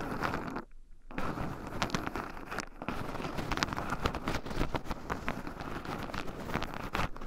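Two wooden chopsticks stir and poke through a small wooden bowl heaped full of raw shelled pine nuts, with two black microphones buried in the pile so the nuts also rub against them. A steady, close crunchy rustle of nuts shifting and scratching runs throughout, dotted with sharp little clicks. It drops to near-silence briefly at about 0.7 to 1.1 seconds and again around 2.7 seconds.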